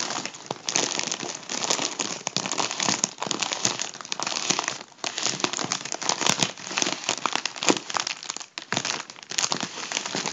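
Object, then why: Mylar foil balloon. Fingers crinkle and rub the thin foil of a hollow gold mylar balloon, working a deflated section. A dense, continuous stream of bright, crackling crinkles fills the whole clip, with little low end. It eases briefly around the 5- and 8.5-second marks.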